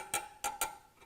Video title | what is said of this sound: Panhead for Sale: Buyer’s Guide | you should hear kind of a nice ting if you hear a dull thud that's going to tell you that hey there's something wrong